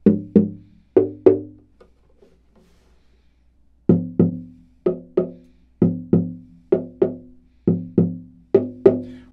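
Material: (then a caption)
Rosewood. The back of a spruce-top, Bolivian rosewood OM guitar is tapped in pairs, 16 short woody knocks in all, with a quiet pause after the first four. Each tap gives a brief, low-mid tone centered around 390 Hz with strong partials near 200 Hz and decays quickly. The back sounds rounder and fuller than the top.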